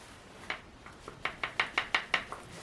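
A Savage 64 rifle is shaken, and its loose barrel knocks inside the stock. It makes about seven short, sharp, bright clicks, with fainter taps in between. The rattle shows the barrel is not tight.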